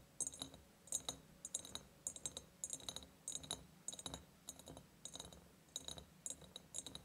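Long painted nails tap on the sides of a large, empty ribbed glass jar. The result is a quiet, irregular run of sharp, bright clicks with a faint glassy ring that dies away almost at once.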